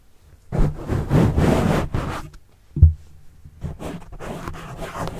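A pen tip scratches the black foam windscreen on a microphone, then a fingertip rubs it. The result is dull, low, rustling scrapes in bursts, with one sharper thump midway, and no bright ring.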